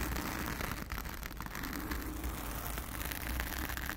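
Long acrylic nails on both hands scratch a blue foam cover on a round studio microphone. The result is a steady, dense, crackly rustle with a heavy low rumble and a faint bright hiss, holding an even level throughout without clear breaks between strokes.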